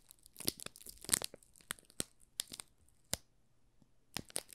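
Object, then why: Soap bar wrapped in thin plastic film. Thumbs press and rub the thin clear plastic film wrapped over a small solid yellow soap bar, making it crinkle. About a dozen sharp, bright crackles and snaps stand out over a quiet, soft rustle, each stopping almost instantly with no ring.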